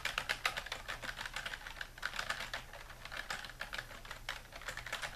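Fingertips type steadily on a full-size dark plastic computer keyboard lying flat on a wooden desk. A continuous stream of quick, dry, bright clicks and clacks comes through with little ring after each keypress, over a faint low hum.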